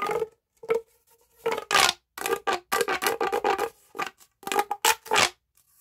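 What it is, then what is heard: Plastic pop tube. A hollow pink corrugated plastic pop tube, about 30 cm long, is held in both hands and stretched and bent with the fingertips so its ridges click. This produces a series of short, bright, rattling click bursts with a hollow, tonal ring, separated by brief pauses.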